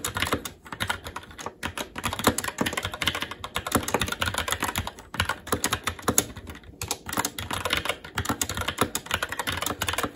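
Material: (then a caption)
Plastic. Fingertips of both hands type continuously on a SteelSeries Apex 7 TKL mechanical keyboard with red linear switches, black plastic keycaps and an aluminum plate. Rapid, dense key taps produce sharp, bright clicks with very short decay, blending into a steady clatter with brief pauses.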